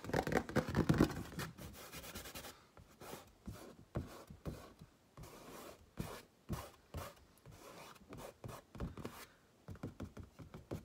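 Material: Canvas.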